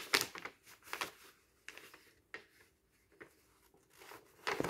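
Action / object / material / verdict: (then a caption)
flick / stack of thin paper sheets / paper / none. Fingertips riffle, rub and flick along the edges of a stack of thin paper sheets and booklets. The result is a series of short, crisp, bright rustling and crinkling bursts separated by near-silent pauses, with a louder flurry at the end.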